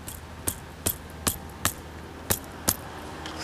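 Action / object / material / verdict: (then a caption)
tap / old brick wall / brick / solid. Short, sharp, dry taps on an old brick wall, checking whether it is solid, come at an uneven pace over a low background hum. Each tap dies away almost instantly with no ringing. The wall proves solid as a rock, and lime is recommended over modern mortar for repointing it.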